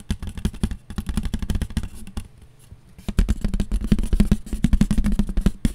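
Long nails tap quickly on a round, white, disposable foam plate with a ridged rim, thin and light, held in both hands. The rapid, dull, low-pitched taps and light scrapes stop briefly in a quieter gap partway through, then resume a little louder and denser until the end.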